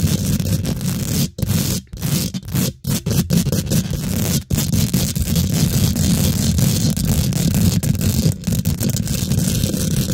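Fingernails quickly scratch the top and sides of a hollow, rounded steel wire-mesh microphone head. The result is a dense, continuous rough scraping with a heavy, boomy low end, broken by a few brief silent gaps, especially in the first half.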